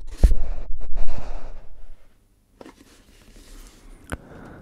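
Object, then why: Paper-wrapped cardboard tube can with metal lid. A hollow, paper-wrapped cardboard tube can with a metal lid stands upright while fingertips lightly tap and scratch its side and lid rim. Soft, low, dry scratching and rustling fills the first two seconds, followed by near silence. Fainter scraping returns with a single sharp tap near the end.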